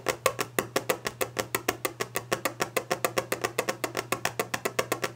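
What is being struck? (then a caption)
Varnished wooden desk top. Long clawed nails drum rapidly on the solid, polished top of a varnished wooden desk, making about 35 quick, dry taps in just over five seconds. Each tap is a short, bright click with a woody body that dies away almost instantly, over a faint steady low hum.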